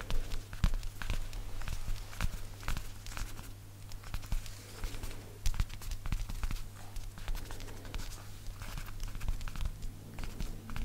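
Fingertips and nails tap rapidly, like rain, on a worn black (possibly faux) leather jacket, its soft, thin material lying over the shoulder. The quick, dry pattering comes in irregular clusters, each tap dying almost instantly, over a steady low hum throughout.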